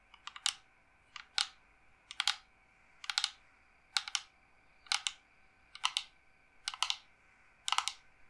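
Long nails rapidly tap and scratch a dark, hollow, carved wooden incense box held upright. The sound is nine short bursts of bright, clicky taps, roughly once a second, each fading almost at once with quiet between them.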